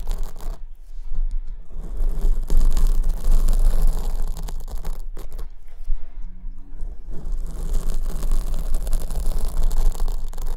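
Long almond-shaped nails scratch the front of a large black foam windscreen on the right microphone, which is held at the top. The result is a dense, continuous scraping and rustling with a heavy low rumble, steady throughout with a brief lull around the middle.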